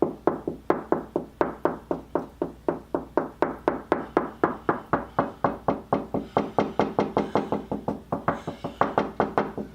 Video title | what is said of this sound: ZIRCON STUDSENSOR 70 ~ ELECTRONIC MAGIC | sounds hollow. There isn't a stud there.